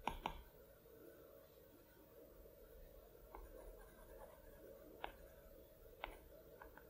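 The hard plastic tip of an Apple Pencil taps and scratches across the flat, solid glass screen of a large iPad Pro lying flat on a plaid cloth, as a hand draws short brush strokes. Sharp clicky taps centered around 940 Hz stand out over a faint, steady background hiss, with two quick contacts at the start and a few more spread through the clip.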